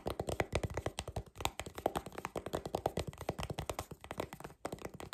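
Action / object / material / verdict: tap / plastic paddle hairbrush with a hollow back / plastic / none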